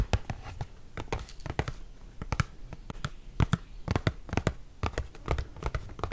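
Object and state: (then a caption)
Cardboard box. Fingertips and nails tap and scratch the flat face of an open, hollow Wasa cardboard crispbread box held up in the air. Quick, dry taps with short low thumps land in uneven bursts, with faint scratchy rustle between them.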